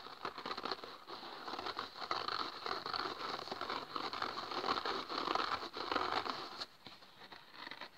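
A small, dry, rectangular kitchen sponge of yellow polyurethane foam with a green abrasive scouring pad on top is squeezed in the fingers, then set on a table and the green pad is scratched with fingertips and nails. This produces a dense, irregular crackling and crinkling scratch, mostly mid-range with some brightness and little low end. The sound stays busy for most of the clip, then drops to a quieter, sparser scratching near the end.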